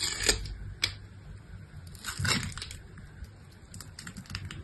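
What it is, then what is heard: Bar soap being cut. A utility-knife blade cuts along the edge of a solid pink bar soap with a crosshatched surface, slicing it into small cubes. Crisp, bright snaps and clicks sound as the blade breaks through, with a few sharper cracks early on and a duller, fuller crunch midway. Lighter ticking follows as the cutting continues.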